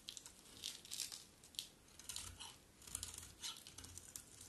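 A metal utility blade scrapes curled shavings off a hand-sized solid bar of dry yellow soap held in the hand. The sound is a series of quiet, bright, crisp scraping and crinkling strokes with very little low end, each dying away quickly.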